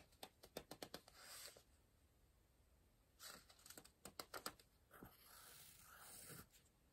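An orange wooden pencil circles and scratches across the printed page of a softcover paper word search book lying open on a pillow, held by one hand. Quiet, bright scratches come in bursts of short, sharp strokes, with softer longer drags between them and near-silent pauses.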